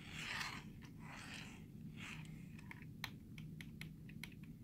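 Fingertips rub and tap the space bar and lower row of keys on a black plastic computer keyboard, close up. Soft scratchy swishes come first, then a run of sharp, bright plastic clicks over a steady low hum.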